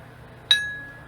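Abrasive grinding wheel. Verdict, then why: Sound. An abrasive grinding wheel is lightly tapped once at a second spot for comparison, giving a single bright, high-pitched ring around 3.8 kHz that decays smoothly over about half a second. The clear, true ring shows the wheel is sound and uncracked.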